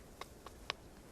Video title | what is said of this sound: 【期間限定フル公開】ナショナル ジオグラフィック 『ランニング・ワイルド：過酷なミッション』「ナタリー・ポートマンとエスカランテ砂漠へ」｜Disney+ (ディズニープラス） | So if you hit there, that sounds like pretty solid.